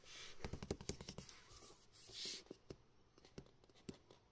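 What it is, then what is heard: Cardboard box handled and tapped. Fingertips tap and rub across the printed surface of a small, hollow cardboard retail box for a pink Razer Quartz microphone, held in the hands and turned from front to back. Quiet, dry, hollow taps with almost no ring are scattered through the clip, with a brighter brushing swell of friction in the middle.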